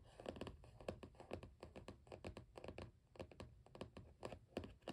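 A Canson XL mixed-media spiral-bound sketchbook lies flat with its blue cardboard cover closed while both hands tap on the cover with fingertips and short nails in a typing-like drumming. Quick, dry, muted taps come in uneven bursts, each with a hollow papery knock and almost no ring.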